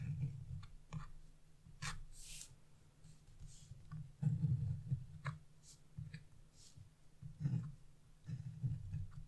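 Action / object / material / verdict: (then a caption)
scrape / coated scratch-art paper sheet / coated paper / none. A chisel scratches the branch area of a flat, black-coated scratch-off art paper page resting on a wooden table, held down by fingers with blue nails. Irregular, dull scraping strokes come in short bursts, mostly low and muffled, with occasional thin, bright scratchy flicks. Each stroke dies away quickly.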